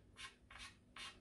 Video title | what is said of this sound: Tip Maintenance How to re tip your cue (Pool sport) Cue sports coaching | can hear a nice crisp sound